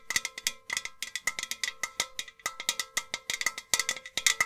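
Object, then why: Enamelled metal jug vase. Long nails tap rapidly on a tall, hollow, empty white painted metal milk-churn style vase with two handles and a black rim. About thirty quick, bright, clicky taps each carry a faint metallic ring near 2 kHz that dies away almost at once, with very little low end.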